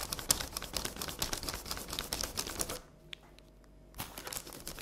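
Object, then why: Sheet of paper on a table. Long red nail tips tap and scratch quickly across a flat sheet of paper colored with pink pencil, lying on a table, making a dense run of bright, crisp ticks and scrapes. The sound drops to near silence for about a second, with only a couple of faint ticks, then the tapping and scratching resume.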